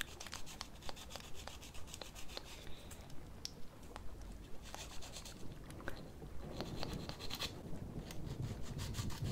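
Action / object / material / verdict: scrape / plastic false nail on a silicone practice finger / plastic / none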